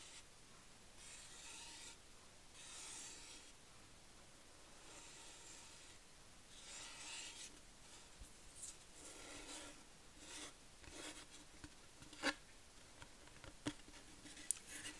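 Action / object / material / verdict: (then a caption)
scrape / thin plywood board scratched with fingernails / plywood / none. Long painted nails scratch and rub a thin, flat, light-wood plywood board the size of a small sign, with printed lettering on its face, held in the hands: first along its edge, then across the flat face, possibly the same board simply turned. Quiet, bright rasping strokes come in irregular bursts, and a few sharper scratchy clicks stand out near the end.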